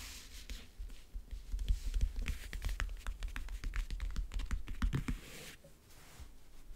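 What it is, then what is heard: Leatherette-covered backgammon case. A fingernail traces and taps across the lid of a closed, hollow backgammon case covered in map-print faux leather, near the front edge. It makes a quick, uneven run of dry clicks and scratchy strokes with a dull, hollow low thump under each tap and almost no ring. The tapping thins out near the end into softer scraping.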